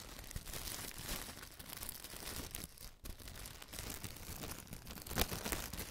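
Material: Plastic film.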